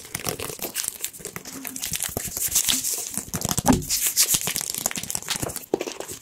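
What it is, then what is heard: Plastic squeeze bottle. A white and yellow plastic squeeze bottle with a pointed nozzle cap, hollow with contents not visible, is tapped rapidly with fingertips and nails close to the microphones. The result is a dense, continuous stream of quick, dry, crinkly clicks, bright and crackling at the top, with a faint hollow knock underneath. Each tap dies away almost instantly.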